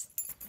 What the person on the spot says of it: sounded really tingly and high and a happy sound like bells